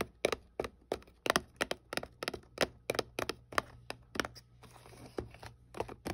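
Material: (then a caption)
Cardboard. A small, hollow white paperboard product box is held in the hand and tapped with long painted nails, giving about twenty short, bright, crisp clicks with almost no ring. Near the end, a brief soft scratch of the nails across the box surface fills the gap between taps.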